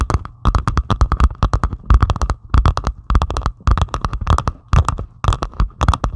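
Long pointed acrylic nails scratch rapidly across a flat diamond painting of plastic resin drills on canvas. The result is fast, dry bursts of scratchy clicking and crackling with a low, thumpy body and bright ticking edges. The clusters come in quick rhythmic runs separated by brief pauses.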